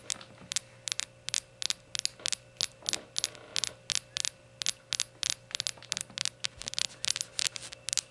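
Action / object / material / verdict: tap / glazed ceramic shot glass / ceramic / none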